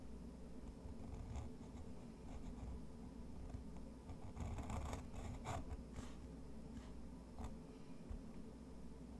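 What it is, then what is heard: Pen nib scratching textured paper. A fountain pen nib scratches long lines across a rough-textured white watercolor paper sheet, seen up close. Soft, dry scratching strokes rise and fade over a steady low hum, with the brightest, busiest scraping in the middle of the clip.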